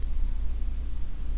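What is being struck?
Nothing is struck.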